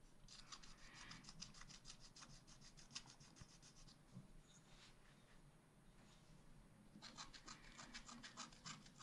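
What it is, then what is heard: Scratch art paper being scratched. A wooden stylus scratches the ice-cream scoops at the top of a wax-coated scratch art pad page, a thin coated card resting on a table. Quick, bright rasping strokes come in a dense run from about 0.3 to 4 seconds, ease into softer, scattered scraping, and then return as another quick run of strokes from about 7 seconds to the end.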